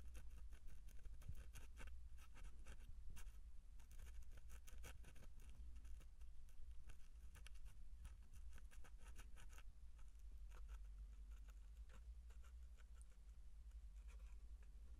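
Fingertips tap and scratch the flat surface of a small, hollow, light-colored cardboard box with handwriting on it. Quick, soft, dry taps and brushing scratches patter unevenly over a steady low hum, staying quiet throughout.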